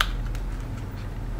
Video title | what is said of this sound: How to make PANI PURI at home from Scratch. | break down into the puri, and you hear how crispy that is